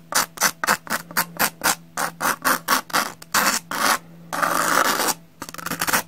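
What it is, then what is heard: Pumice block scraped with a knife. A metal knife blade scrapes over the rough surface of a solid, porous brown pumice block. It makes a quick run of short, gritty, bright scratches, then one longer rasping drag, then a few faster scrapes at the end.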